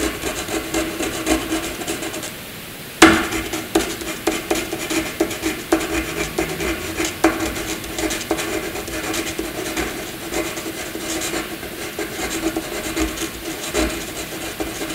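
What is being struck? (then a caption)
Graphite pencil on a paper sheet. A graphite pencil tip scribbles dense squiggles across a flat white sheet of paper, making a steady, raspy scratching. The scratching breaks off briefly, resumes with a sharp tap, and continues as a bright, grainy rubbing to the end.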